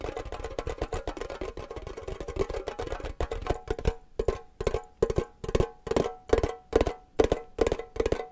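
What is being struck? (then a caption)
Small hollow metal tin. A small, hollow, triangular printed metal tin shaped like a cake slice is tapped quickly with fingernails and fingers. A dense run of rapid, clicky taps with a short hollow ring around 445 Hz slows after about four seconds into separate, evenly spaced knocks.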